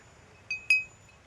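A wind-driven bird scarer in an eggplant field chimes as an iron piece strikes glass bottles, meant to frighten birds away from the eggplants; the more wind there is, the more sound it makes. Two bright, glassy clinks are heard in quick succession, the second louder, each ringing briefly with a clear tone around 2.5 kHz and high overtones before fading into quiet.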